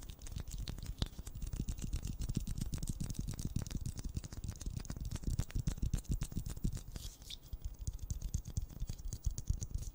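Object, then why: Plastic ball. A pink plastic ball is tapped rapidly and continuously, giving a dense stream of short, dull taps with a deep low thump and faint bright clicks on top. The tapping keeps a steady, quiet pace throughout.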